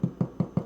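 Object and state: Bread loaf baked through, hollow-sounding.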